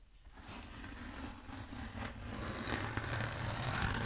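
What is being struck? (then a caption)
Bead foam roller. Long acrylic nails scratch and tap along the textured surface of a long black bead foam roller held diagonally. A dry, grainy rasping builds steadily louder over a low rumble, with occasional sharp, bright ticks cutting through.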